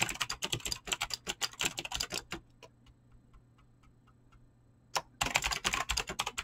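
Fingertips with short painted nails type fast on a full-size mechanical keyboard with Razer green clicky switches and pink-blue PBT plastic keycaps, resting on a desk. Rapid, bright, crisp clicks clatter in quick bursts, fall to a near-quiet pause with only faint ticks, then resume with a sharp keystroke and another fast flurry.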